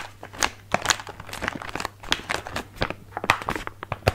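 A small, filled printed plastic/foil bag of Stegeman biscuits is held in both hands while fingertips tap and rub it. The result is a steady run of sharp, bright crinkling and crackling with short clicky bursts and a faint low hum underneath.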